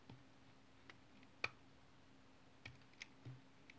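A utility knife cuts cubes and flakes from a solid, hand-sized brown bar of tar soap, the blade scraping through the soap. Seven short, sharp, bright clicks and snaps are heard, with the loudest near the middle and a quiet, dry pause between each. Each sound dies away almost instantly.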